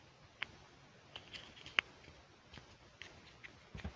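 Fingertips snap the seat of a small, hollow, pink plastic toy stool onto its base while handling it in both hands. This makes sharp, bright plastic clicks, centered near 2.2 kHz, that stop instantly, with soft faint handling rustle between them.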